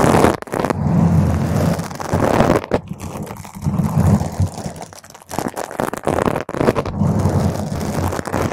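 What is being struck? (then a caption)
Foam microphone windscreen. A single nail scratches a round purple foam microphone windscreen, then a whole hand of long nails scratches and rubs its top. The sound is a dense, muffled, rumbling scrape and crackle, weighted heavily toward the low end with almost nothing bright. It swells and dips in waves throughout.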